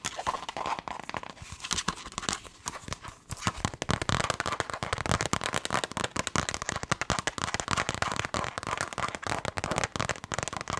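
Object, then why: Leather glasses case. Long nails tap rapidly and aggressively on a black leather glasses case held up flap-side. The sound is a dense stream of short, sharp clicks and crackly ticks that decay almost instantly, with brief pauses early on before the tapping becomes nearly continuous.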